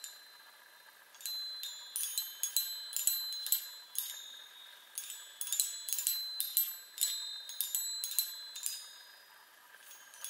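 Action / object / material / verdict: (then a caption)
tap / small metal tube chime on a wooden frame / metal / none. Long nails tap and strike the hollow metal tubes of a small handheld chime on a wooden frame, making bright, high, tinkling rings. The taps come in quick, irregular bursts with a short pause in the middle, and each ring fades almost at once.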